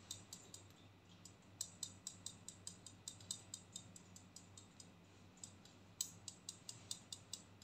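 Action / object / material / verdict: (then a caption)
tap / plastic hair clip / plastic / none. A pink and black plastic hair clip is opened and closed and tapped with fingernails, making a steady run of quiet, sharp, bright clicks. A faint low hum sits underneath, and each click dies away almost instantly.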